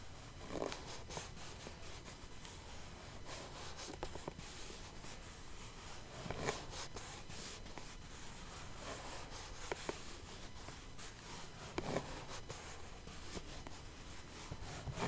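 Long painted nails scratch across the lid of a small clear plastic box full of rhinestones, making a quiet, steady, dry scraping and rustling texture. Occasional brighter ticks and clicks stand out from the soft, continuous scratching.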